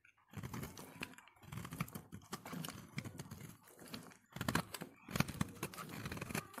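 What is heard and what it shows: A solid yellow soap bar held in the hand is scraped with a utility knife blade, peeling off soft, crumbly shavings. The result is a quiet, dense crackling scrape with many tiny clicks, coming in several strokes separated by brief pauses, mostly low in tone with light high grit.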